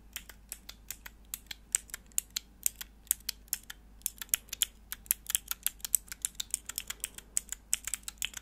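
Long nails press and click the grey plastic keycaps on a small, hollow, clear plastic mechanical keyboard switch tester with four mechanical switches, held in the hands. About 46 quick, sharp, bright clicks come in an irregular tapping rhythm, each dying away almost instantly, over a faint steady low hum.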